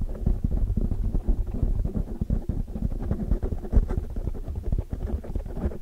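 Long, dark-polished nails on both hands scratch and tap all around a large black foam windscreen, soft and porous, covering a hollow microphone head. The result is a dense stream of muffled, boomy thumps and rustling scratches, almost entirely deep and low with no bright top end. Each tap dies away almost instantly.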